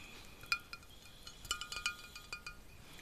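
A small, full glass bottle of dark red beet juice with a metal cap is held in one hand while the fingers and nails of the other hand tap it. About ten quiet, bright, chiming clinks ring near 2.4 kHz and fade almost instantly, some hits spaced apart and others in a quick cluster.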